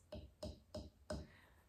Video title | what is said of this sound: Easy Peasy Slab Built Cup | just a tap on your piece and you can hear that echoing, whereas very dull on the piece that we've just made